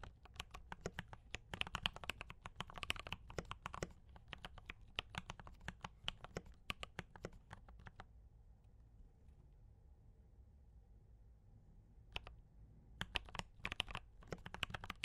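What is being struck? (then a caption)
Mechanical keyboard with plastic keycaps. Fingertips of both hands type on a D84 mechanical keyboard with brown switches and cream and red plastic keycaps, making rapid, bright, dry clicks with a low thock beneath. The typing runs steadily for about eight seconds, then stops for a quiet stretch with only a faint low hum, broken by one lone keystroke. It then resumes in quick bursts to the end.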